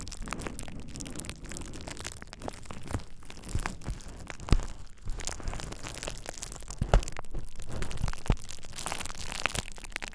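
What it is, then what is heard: Plastic bubble wrap. A thin sheet of purple plastic bubble wrap laid over the ears of a dummy-head microphone is squeezed and popped with fingertips. Close, steady crinkling and rustling runs throughout, with a low rumble, broken by sharp, brief pops and cracks that die away almost instantly.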